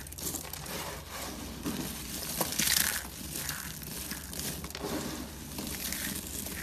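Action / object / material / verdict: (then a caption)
scrape / soap shavings / soap / none. A heap of small, brittle, dry soap flakes and curls in cream, white and blue rests on a white surface while fingertips press and knead them, then both hands squeeze the flakes to crush them. A dense, bright crunching and crinkling runs throughout, peaking in a louder burst of crackle near the middle. The flakes break into crumbles under the pressure.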